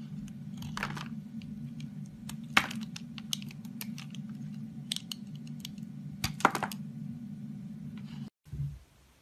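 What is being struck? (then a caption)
Bar of soap. A box cutter blade scrapes and cuts a partly carved, solid orange bar of soap held in the hand, shaving it into flakes. Dry, crisp crunching and scraping bursts with sharp clicks play over a steady low hum. The sound cuts out abruptly near the end, followed by a brief low thump.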